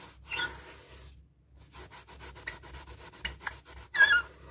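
A paper tissue rubs briskly over the rubber surface of a hollow, light blue inflated latex balloon held in hand. A dry, hissy swipe is followed by a brief silence, then a quick run of short rhythmic rubbing strokes with faint squeaks near 1.7 kHz. It ends in a louder, bright squeaking rub.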